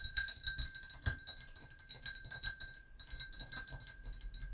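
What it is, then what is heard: Ceramic mug. A hollow brown glazed ceramic mug with a handle, standing on a book, is tapped rapidly with the long acrylic nails of both hands. The taps are bright, crisp clicks with a short, high ring that dies away almost at once.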